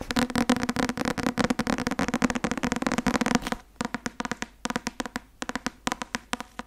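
Long nails tap rapidly on the cover of a thick white and blue Academia Iuris softcover textbook held up. The clicky taps come in a dense, fast flurry for the first few seconds, then thin out into sparser, separate taps.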